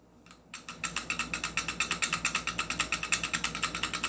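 The slide on top of a non-upgraded airsoft Glock 18 pistol, made of metal and polymer, is shaken forward and back. It rattles loose in a fast, uneven stream of bright clicking taps. Over the first half-second there are a few faint ones, then they come steadily to the end. This looseness is typical of a stock Glock, unlike an upgraded one.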